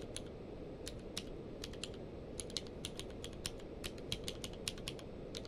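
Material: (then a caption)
Plastic. Both hands type rapidly with their fingertips on a full-size plastic mechanical keyboard with a blue-grey case and white and grey plastic keycaps, lying on a blanket. Quick, sharp, bright key clicks tap out in an uneven rhythm over a steady low hiss and rumble, and each click dies away almost at once.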